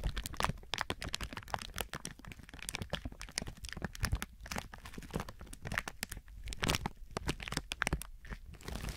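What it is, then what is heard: Plastic film being crinkled. Fingertips squeeze and crinkle thin clear plastic film wrapped around a binaural microphone. A dense, continuous run of close, crackling crinkles and sharp snaps fills the clip, each burst bright and dry with no ring, over a steady low rumble from the handling.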